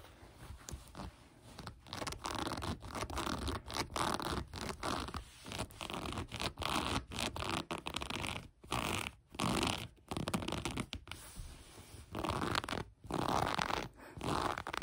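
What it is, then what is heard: Cotton sweatpants waistband being scratched. Long acrylic nails scratch the gathered waistband of light gray cotton sweatpants lying flat on a table. Dry, rasping fabric scratches come in quick strokes and bursts with short pauses between them. The sound is a broad, bright rustle with a soft low rumble underneath.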